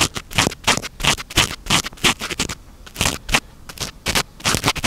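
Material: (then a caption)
Foam. Fingertips and short nails continuously scratch and rub a small, soft, porous black foam windscreen on a handheld microphone. The result is a fast, uneven series of bright, close-up scratchy bursts, roughly three per second, each with a faint tonal edge near 2.8 kHz. The bursts stop short, separated by quieter rustling.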